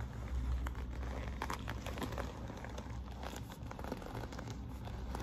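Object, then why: Quilted patent faux-leather handbag. Long nails scratch and rub the glossy quilting of a hollow quilted patent faux-leather handbag panel with a metal magnetic snap. The result is a steady, soft crinkling and scratching texture over a low rumble, with brief brighter scrapes scattered throughout.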